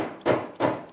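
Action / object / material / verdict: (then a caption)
tap / wooden cabinet back panel in a dado slot / wood / seated. A wooden cabinet back panel is tapped down into a dado slot with a dead blow hammer, giving dull, short thuds with a midrange body around 600 Hz. The strikes land at about 0.25, 0.6 and 0.95 seconds, and the thud means the panel is fully seated.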